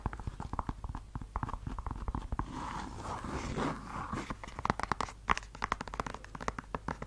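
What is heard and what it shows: A single hollow red suede stiletto pump is held close to the mic and tapped and scratched on its suede and heel with long yellow acrylic nails. Quick, dry clicking taps come first, then a steady rasping scratch through the middle, then more scattered sharp taps. The sound is soft and close with a mid-range tone around 1 kHz and almost no ring after each hit.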